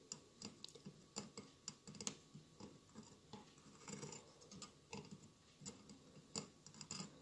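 Fingertips tap and scratch the tiled sides of a hollow mosaic glass candle holder with a lit candle inside, and near the end the hands move toward the lower part of the holder. The result is a quiet, irregular series of short, bright glassy ticks with almost no ring, mixed with soft scratchy rustling between them.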